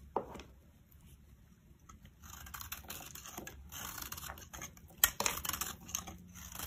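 A metal blade scrapes powdery shavings off the face of a solid, rectangular, cream-colored bar of cream soap held in the palm. The sound is a series of dry, bright, crunchy scrapes with quick crackling bursts, including a few sharper, louder snaps around the fifth second.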